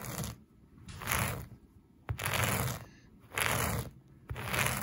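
A black plastic vented hairbrush, held in one hand, is brushed and scratched back and forth across a flat, soft beige-and-brown plush synthetic carpet. Five broad, scratchy swishes are heard, each with a sharp start and a bright, rough texture, separated by near-quiet pauses.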